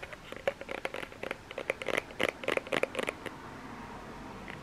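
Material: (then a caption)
Plastic. Fingernails tap and scratch the bottom end and body of a small plastic lotion bottle, making quick, irregular clicks and scrapes with a hollow tone near 530 Hz and a bright, crisp edge. The taps cluster densely for about three seconds, then give way to a faint, quiet hiss.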